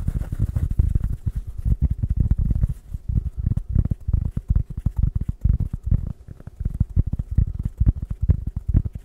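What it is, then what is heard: Woven rattan coaster. A small, round, flat woven rattan coaster of natural fibre is held in the hands and scratched rapidly with fingertips and nails. The result is a dense run of short, dull, low scratching thumps with faint brighter ticks, pulsing fast and unevenly throughout.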